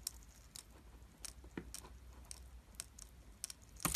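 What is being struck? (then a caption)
Glycerin soap bar cut with a metal blade. A metal utility blade carves a solid oval bar of green translucent glycerin soap, held in the hand and pre-scored in a grid, shaving off small clear cubes. About ten quiet, crisp, bright crunching clicks come one after another over a low background hum, each dying away almost instantly. The last cut at the end is the loudest.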